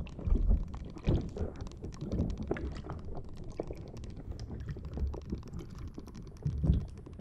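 A green rubber or silicone spiky puffer ball is held in both hands and squeezed and scratched with long dark-blue nails, its spikes rubbing together. The sound is a dense, low, muffled squishing and rubbing with many quick soft clicks. Louder squeezes stand out near the start and near the end.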